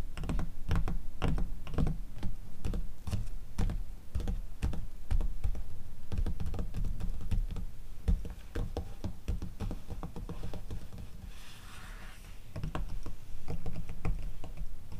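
Long teal acrylic nails on both hands rapidly tap and scratch the pages of an open glossy paper catalog magazine, staying on the same page spread throughout. Dense, irregular, dull tapping thuds run almost continuously, easing around the eleven-second mark into a softer, breathy scratching on the paper before the quick taps pick back up.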